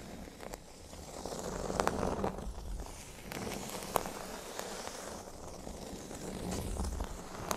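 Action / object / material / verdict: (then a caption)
scrape / flat cork board on a table / cork / none. Fingernails scratch the surface of a flat, thin, solid cork board resting on a table. The result is a soft, continuous rustling scrape with dry crackles and occasional sharper ticks that reach bright, high tones, swelling and easing in waves.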